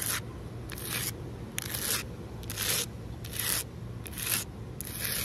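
Long nails scratch across a large, solid outdoor concrete ledge in seven rough, bright strokes at a slow, uneven pace. Each stroke is a dry, gritty rasp over a steady low background rumble.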